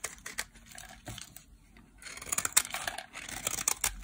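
A solid pink dry bar soap held in the hand is shaved into flakes with a metal blade, producing dry, crisp scraping and crackling strokes in quick bursts. The sound is bright and papery, with a brief quieter lull in the middle before denser, louder cuts resume.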